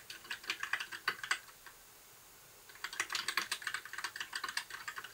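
Fingertips type on a compact white backlit mechanical keyboard with plastic keycaps. Two bursts of quick, bright, clacky keystrokes are separated by a brief pause of about a second, each click short and dry with almost no low end.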